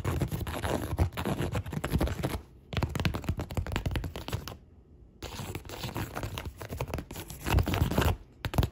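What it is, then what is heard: Woven polypropylene bag. Long pink nails tap and scratch the woven surface of a large, flexible, hollow white woven polypropylene shopping bag with a printed logo. The result is a dense run of dry, rustling scratches and quick taps with a low, muffled body. It stops briefly near 2.5 seconds and again around 4.6 to 5.2 seconds before resuming.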